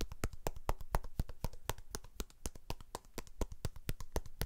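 A whole, fist-sized, solid red pomegranate is held in one hand near the microphone and tapped with the fingertips of the other hand. A quick run of about 34 short, dull, low thuds comes at roughly four per second, each dying away almost instantly with no ring.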